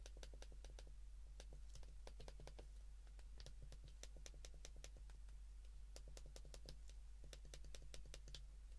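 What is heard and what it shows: Fingertips rapidly press the keys of a white plastic flip phone held in the hands, producing a quick, uneven stream of short, sharp plastic clicks with bright tops. The clicks sit over a steady low hum that carries most of the energy, and each one dies away almost instantly.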